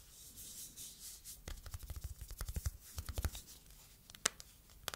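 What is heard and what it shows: A phone in a matte yellow silicone case is held flat while long nails rub and scratch its back. Soft brushing gives way to a run of quick, dry scratching strokes in the middle, followed by a few sharper isolated clicks near the end.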